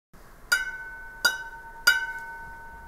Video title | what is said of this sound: 【時代雜誌】2024年5月29日 – 復古潮流（古老當時興） | 用手指弹下碟背的时候会听到清脆的回音